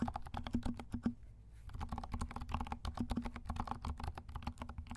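A compact 68-key plastic mechanical keyboard with dark plastic keycaps and silent switches is typed on with the fingertips of both hands. The result is a quick run of soft, muffled clicks with a low thump, a brief pause near the one-second mark, then steady typing again.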